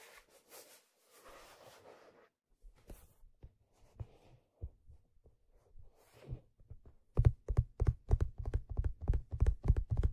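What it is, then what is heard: Leather fedora hat, tapped. A hollow, empty black leather fedora is turned over and then held upright while a hand grips and rubs its brim and fingertips touch the stitched crown. Soft brushing rustles give way to scattered quiet taps, then a quick run of muffled, low, hollow thumps that die away almost instantly.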